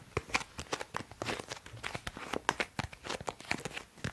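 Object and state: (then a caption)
Plastic cosmetic bottle. Long manicured nails tap a hollow, blue semi-transparent 200 ml plastic cosmetic bottle with a cap, of unclear fill level, held in both hands. A quick, uneven series of sharp, bright plastic clicks follows, each dying instantly with no ring, mixed with a faint crinkly rustle.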